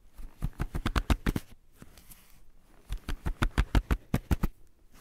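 Fingertips and the palm sweep, rub and scratch across a blank white page of a spiral-bound sketchbook, including near the spiral edge. Two bursts of quick, dry, papery strokes come in a fast, uneven rhythm, separated by a quieter stretch of faint rubbing in the middle.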